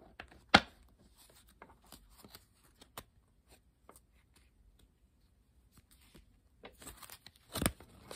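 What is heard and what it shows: A blue-backed coated paper playing card deck is handled close up in both hands with long pink nails, riffled, squared, and tapped along its edges by fingers and nails. A sharp bright snap opens the clip, followed by scattered light ticks, clicks and soft rustles, then a busier burst of crisp fluttering card noise with another loud snap near the end.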